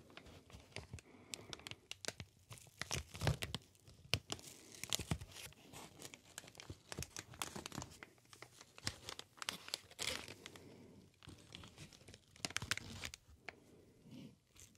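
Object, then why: Inflated plastic air cushion packaging sheet. A green inflated plastic air cushion packaging sheet is squeezed and crinkled by hand. The result is a dense, irregular stream of bright crackles and sharp snapping pops over a soft, low rustle, with occasional louder bursts.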